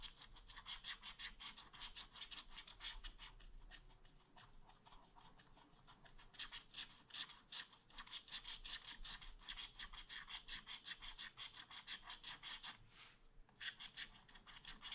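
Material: Coated paper.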